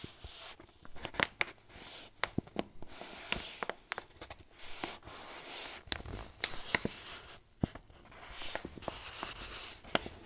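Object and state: Paper flour bag.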